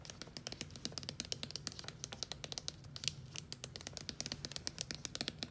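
Long acrylic nails and fingertips tap and scratch a small, soft plastic squeeze tube of body lotion with a black plastic cap, lying full on a dark countertop. A rapid, uneven run of sharp, bright clicks and short scratchy strokes, each dying away almost instantly, sits over a faint low hum.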